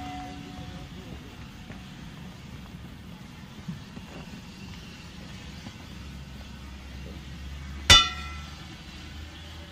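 A steam locomotive's steel wheel is struck once with an inspection hammer near the end of the clip, giving a sharp metallic clang with a bright ring around 3.5 kHz. The ring fades within about a fifth of a second. Before the strike there is only a low, steady background rumble.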